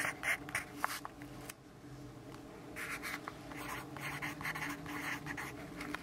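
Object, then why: Graphite pencil on paper notepad. A yellow graphite pencil writes continuously on a lined paper notepad resting on a wooden desk, producing dry, bright scratching strokes in quick, uneven bursts. The scratching eases into a quieter stretch of lighter strokes after the first second and a half, then picks back up with denser, steadier writing until the end.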